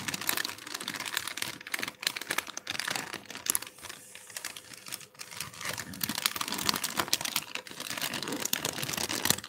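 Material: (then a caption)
Plastic. A large, thin, translucent, empty plastic bag is held up and crumpled by black-gloved hands, giving a dense, bright crinkling with little low end. The crackle runs almost continuously, eases briefly around the middle, then picks up again until the end.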